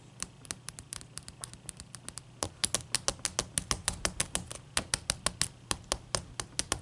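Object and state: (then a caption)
Large ice cube. Long nails tap a large, clear, solid ice cube resting on a towel, and the hands lift away by the end. Quick, bright, dry clicks come in an uneven patter over a faint low hum, starting soft and growing louder and sharper partway through.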